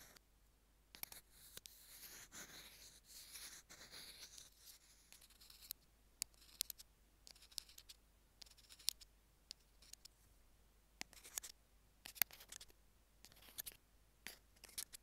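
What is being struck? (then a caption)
Small plastic earphone mic remote tapped with metal tweezers. Metal tweezer tips tap and scratch the surface and buttons of the small white plastic in-line mic remote of a pair of Apple earphones lying on a jade stone. Quiet, bright, dry scratching runs through the first few seconds, then gives way to many separate sharp, high clicks and ticks that stop almost instantly, with soft rustling scrapes in between.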